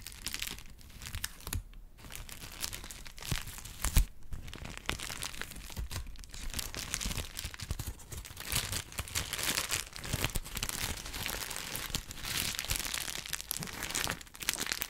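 A thin white paper sheet is scratched and crinkled with fingertips and nails. It makes continuous crisp crackling and rustling with many small bright ticks, louder bursts around four seconds and in the later half. A faint low rumble sits underneath.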